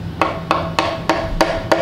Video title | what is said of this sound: Wandana Visits The Randwick Starlight Express Room | it sounds hollow inside doesn't it it sounds empty